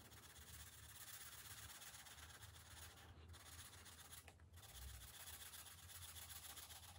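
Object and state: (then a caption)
Marker rubbing on a paper page. A green felt-tip marker rubs back and forth across the thin paper page of an open coloring book resting on a glass table, colouring in stripes. A steady, bright, scratchy rubbing hiss runs almost continuously, broken by two brief pauses, over a faint low hum.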